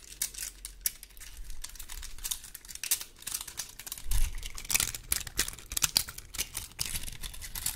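The scales of a large, dry, woody pine cone are scratched with long gold metal claw nail covers. The result is a steady stream of dry, bright, crackling scrapes and ticks with almost no ring, over a faint low rumble, growing briefly louder around the middle.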